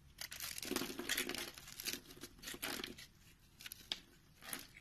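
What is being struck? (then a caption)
Bar of soap. A utility knife blade cuts a grid into the surface of a round, solid orange-and-white soap bar held in the palm, then scrapes it into small crumbly cubes. Bright, crisp scraping and crunching come in uneven bursts with short pauses between them, and there is little low end.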